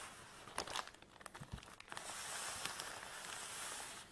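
Fingertips and long nails scratch and rub a long black nylon drawstring bag holding a folded tripod, lying on a table. Sharp, scratchy bursts of crinkly fabric noise come first, then settle into a steady, bright rustling hiss.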